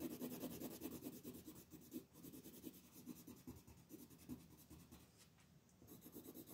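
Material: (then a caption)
Paper. A wooden colored pencil scratches and rubs across a flat white paper coloring sheet on a table while coloring the outer petals. Quiet, rapid back-and-forth strokes, about two to three per second and somewhat uneven, make a dry, papery scratching with a low-mid grainy body and a faint high hiss. Each stroke stops dead with no ring.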